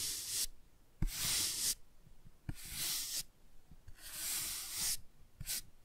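A toothbrush is rubbed and scratched across the printed, laminated cardboard cover of a solid, hand-held children's board book. Five bright, hissy scrubbing strokes are separated by short quiet gaps, some starting with a soft low tap.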